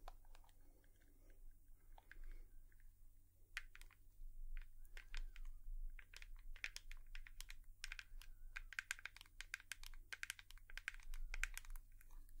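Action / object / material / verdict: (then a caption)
tap / plastic hairbrush / plastic / none. A hairbrush is tapped with long nails, producing rapid, irregular bursts of short, dry, bright clicks that stop almost instantly. The tapping grows denser and louder after the first few seconds, over a steady low hum.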